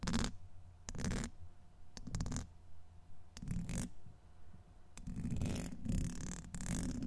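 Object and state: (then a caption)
Metal mesh microphone grille being scratched. A pointed black brush handle, held in the fingers, is scratched back and forth over the hollow domed steel wire-mesh grille of a large USB microphone. Short bursts of low, rumbling, scratchy friction come in separate strokes, then run together into a longer continuous scratching stretch toward the end.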